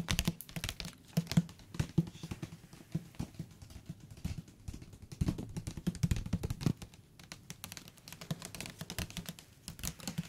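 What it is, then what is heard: Thick book. A thick paper book is tapped with the fingertips on its cover and along its edges; the top and bottom edges sound different even though the thickness and material are the same. Quick, soft, dull taps come in irregular bursts, mostly low in tone with short, dry decays and faint bright clicks.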